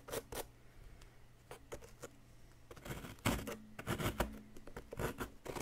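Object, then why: Plaster excavation block scraped with a wooden stick. A wooden stick scrapes and picks at a solid yellow block of chalky plaster. Short, dry, gritty scratches and clicks come in scattered bursts, sparse at first and then denser and louder in the second half. A faint low hum sits underneath.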